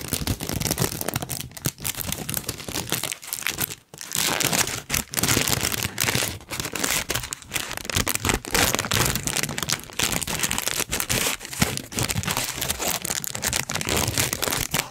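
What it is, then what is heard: Tissue paper sheet crinkled. A large, thin pink tissue paper sheet is held up, crinkled and rubbed between the fingertips close to the microphone. It makes a dense, continuous, bright crinkling and crackling that pauses briefly just before the 4-second mark, then carries on steadily to the end.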